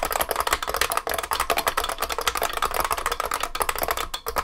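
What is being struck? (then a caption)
Beam spring keyboard, plastic keycaps in metal case. Both hands type continuously with their fingertips on a large vintage beige IBM 3278 beam spring keyboard with plastic keycaps and a metal case. A rapid, dense stream of sharp, clacky keystrokes carries a bright metallic ping around 1.8 kHz, and each stroke cuts off almost instantly. The strokes run together with only a couple of brief pauses.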